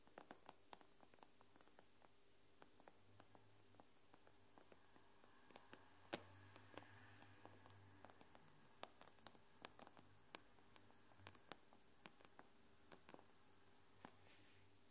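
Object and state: Glass tablet screen tapped with nails.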